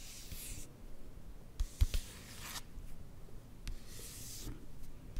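Fingertips and long nails rub and scratch across the surface of a glossy magazine page printed with a portrait photo, held up close. Soft, bright papery swishes come in waves, broken by a few sharper taps and scrapes over a low, quiet rumble.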